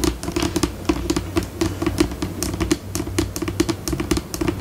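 Long pink acrylic nails tap rapidly on a flat, white, solid laminate tabletop, recorded close up. The result is a quick, uneven stream of dry, clicky taps with a low knocking body around 320 Hz and bright nail clicks on top. Each tap dies away almost instantly.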